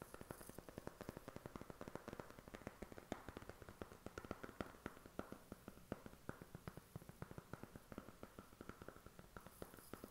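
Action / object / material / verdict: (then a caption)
tap / thin cardboard makeup palette box / cardboard / none. A thin, hollow, flat white cardboard eyeshadow palette box is held in the hand and tapped and scratched with short fingernails. Quick, dry, quiet taps come in a steady stream with a soft hollow body, mixed with faint scratching. Each tap dies away almost at once.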